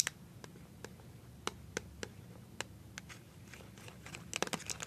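A small, filled white plastic BB cream squeeze tube is held in the hand and tapped and scratched with nails covered in paper clips. Sharp, bright clicks ring out at uneven intervals over a soft, crinkly scratching. The taps crowd into a faster flurry near the end.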